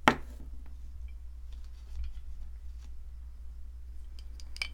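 A wooden-handled metal chisel chips and knocks at a solid white plaster ammonite fossil excavation block held in the hand. A sharp, bright knock opens the clip, then faint scraping clicks and taps follow over a steady low hum. Another crisp tap comes near the end.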